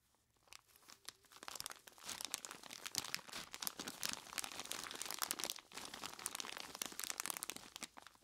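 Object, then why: Plastic bag full of crushed ice. Purple nitrile-gloved hands squeeze and scratch a large clear plastic bag full of crushed ice. After a near-silent start, a dense, bright stream of crinkling plastic and crunching ice builds up and continues steadily, dipping briefly before it resumes and fades slightly at the end.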